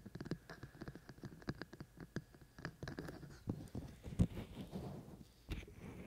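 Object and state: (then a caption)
Silicone microphone ears scratched and tapped. Fingertips of both hands scratch and tap the outer ear shells of a binaural microphone with white silicone ears. The result is a rapid, irregular series of soft, dull taps and rustling scratches, mostly low and muffled with very short decay. One sharper tap stands out near the end.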